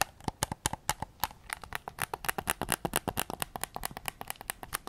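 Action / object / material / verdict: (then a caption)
tap / hard plastic game controller / plastic / none. A white PS5 DualSense controller, a hollow hard plastic shell held up in both hands, is tapped on its back and grips with fingertips and short nails. About three dozen quick, dry clicking taps come in an uneven rhythm, each with a hollow mid tone around 850 Hz and a bright edge, dying out almost instantly.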